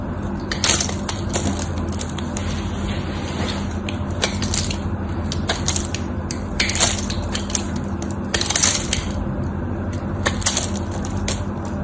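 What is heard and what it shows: A metal knife blade cuts and scrapes across the cracked surface of a solid, cream-white dried bar of soap held in the hand, knocking off dry chips. Bright, crunchy scraping bursts and crackles recur over a steady low hum.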